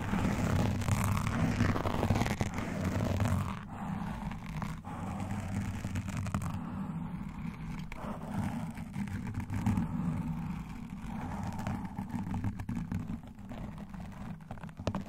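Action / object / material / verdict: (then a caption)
scrape / foam microphone windscreen / foam / none. Long nails and metal nail rings on both hands scratch fast and at the same time around the top of a black foam microphone windscreen. The result is a dense, muffled, low-heavy rustling scrape with about four rough strokes per second. It eases slightly after the first few seconds, then continues steadily to the end.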